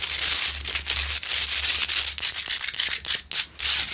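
Both hands scratch the rough surface of a large, solid rock-salt Himalayan salt lamp, lit from inside, with long pointed nails. The result is a dense, bright, hissy scraping made of quick, irregular strokes with short pauses between some of them, over a faint low hum.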